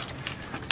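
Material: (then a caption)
Metal. A cardboard package from a Meguiar's shipment, holding six metal aerosol cans of Hot Shine tire coating, is shaken and handled. Three bright, metallic clinks of the cans knocking together ring out over a soft rustle. The sound confirms the box holds metal cans.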